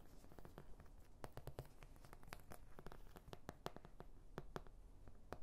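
Long nails scratch and tap the domed bumps of an oval white plastic paint palette with domed wells. A soft scratching runs through the clip, broken by quick, sharp plastic clicks in an irregular rhythm. Each tap is dry and dies away almost at once, and the overall level is quiet.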